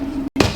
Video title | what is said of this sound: Islande Reykjavik Lava Show Only in the world / Iceland Reykjavik Lava Show | that dull thudding noise? That's telling me that the material underneath the pole here is still very molten